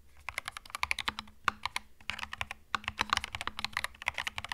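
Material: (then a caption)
Plastic. Fast fingertip typing on a compact cream mechanical keyboard with plastic keycaps produces a rapid run of about thirty sharp, bright clacks. Each keystroke snaps off almost instantly, with louder accents scattered through the flurry over a faint steady low hum.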